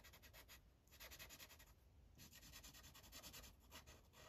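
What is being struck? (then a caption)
Paper sheet on a clipboard, felt-tip marker. The felt tip of a yellow Sharpie marker is rubbed across a thin paper coloring page on a clipboard in repeated back-and-forth coloring strokes. The result is a quiet, bright, scratchy rubbing hiss in rhythmic bursts, with short pauses between runs of strokes.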